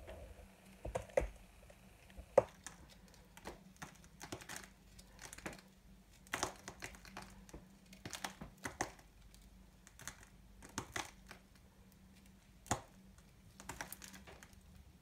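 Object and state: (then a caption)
Dry bar soap being cut. A solid, dry, multicolored soap ball held in the hand is cut and scraped with a small knife, making crunchy flakes. Short, dry crunching and scraping bursts come at irregular intervals, each snapping off quickly without ringing, over a faint steady low hum.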